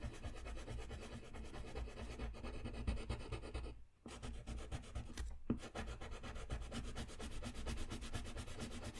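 A blue-capped wooden colored pencil rubs back and forth across a thin, flat sheet of white drawing paper on a desk while coloring. The result is a steady, soft, scratchy rubbing with a low, muffled body, broken by brief pauses around the four- and five-and-a-half-second marks before the strokes resume.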